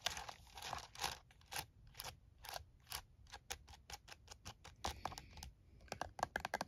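A plastic calculator lies on a towel while one hand's fingertips and nails tap its keys quickly. The result is a fast, uneven run of dry, bright plastic clicks and taps that stop short with no ring, some grouped in bursts and the last few sharper and louder.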